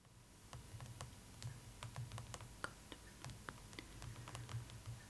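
Long acrylic nails tap and drum on the glossy paper front cover of a large, closed hardcover art book, "The Art of Spirited Away," lying flat on a cloth table. The result is a quick, irregular run of short, dry, bright clicks that die away almost instantly, over a soft low hum.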